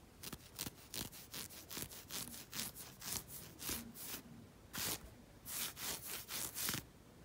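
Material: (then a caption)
Knit fabric. Fingernails scratch quickly over a black knit fabric sock worn on a foot, making a series of short, bright, hissy rasps. Each stroke stops cleanly, with quiet gaps between the bursts.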